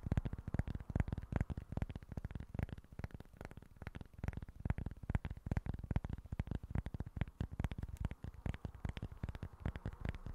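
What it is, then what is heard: Cork board. Fingertips and short nails tap and scratch the face of a small, flat, solid cork board held in both hands. The result is a fast, uneven patter of soft, dull, low taps with no ring, mixed with faint scratching.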